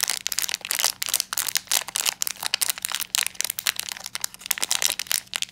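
A small black metallized plastic foil blind bag with a Frozen 2 pin inside is held in both hands while fingertips crumple and squeeze the foil. The result is a dense run of bright, crisp crinkling and sharp crackles, with each crackle dying away almost instantly.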